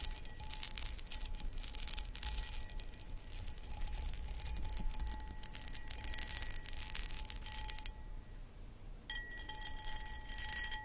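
Long acrylic nails scratch and tap the textured outside of a medium-sized, empty, hollow clear cut glass footed pedestal bowl. The result is a dense run of bright, crackly scratches and light clicks over a steady low rumble, with faint high glassy ringing tones. It pauses briefly near the end before the scratching resumes.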